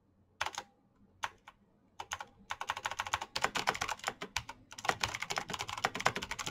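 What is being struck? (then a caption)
Plastic mechanical keyboard. Fingertips type fast on the keycaps of a black plastic mechanical keyboard. A few scattered clicks quickly build into a dense, rapid run of sharp, bright clacks. Each clack dies away almost instantly, with very little low end.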